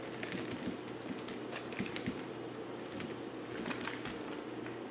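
A dry, solid white stamped bar of soap is held in the hand and shaved with a yellow utility knife blade. Quick, crisp scraping ticks and soft crackles run steadily over a low, constant hum, with bright flecks as the blade catches the soap.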